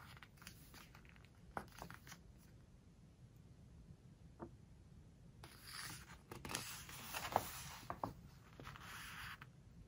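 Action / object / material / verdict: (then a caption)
scrape / glossy paper book pages / coated paper / none. A fingertip rubs across a glossy page of a book, making faint, scattered ticks and soft friction over a low, steady hiss. Around the middle, the page is turned and smoothed down, producing a louder, bright, crinkly rustle with a few sharp crisp snaps before it settles back to quiet rubbing.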